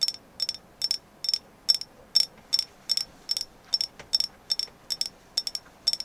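Tapping on a carved agate moon goddess figure in the final stretch of tapping: fifteen quick bursts of bright, clicky taps, many landing as doubles, at a steady pace. Each tap gives a sharp, high, glassy ping that dies away almost instantly, with no low-end body.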